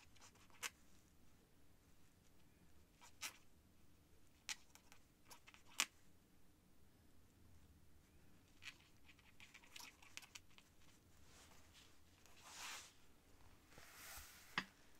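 The tip of a white feather quill scratches across a thin cream paper sheet on a desk while the other hand rests still on an open book. It is quiet and bright: about eight short, sharp scratchy ticks stand out over a faint low hum. Softer hissing strokes of the nib swell through the second half.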